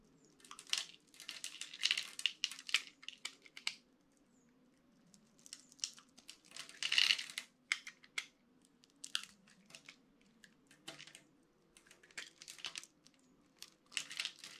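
A utility-knife blade scrapes small crumbly cubes off a solid, dry orange bar of soap onto a pile of soap bits. Bursts of bright, dry crunching and crumbling come in clusters with short quiet gaps between, over a faint low steady hum.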